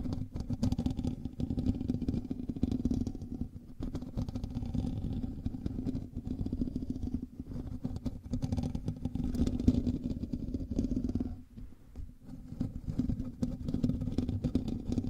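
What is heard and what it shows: Fingernails of both hands scratch the hollow metal mesh grille of a black microphone, making dense, rapid, rustling scrapes. The close-up sound is heavy in the low end with a strong hum-like body around 250 Hz and little brightness. It runs nearly continuously, with brief lulls around 4, 7 and 12 seconds.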